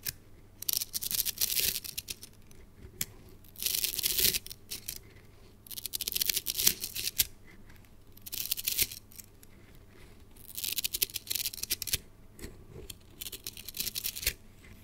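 A red translucent plastic coil spring toy is held high and shaken so its coils fall and click together. Bursts of bright, dense clicking and rattling come in several waves, each a flurry of quick sharp clicks that die away almost instantly, with quieter gaps between.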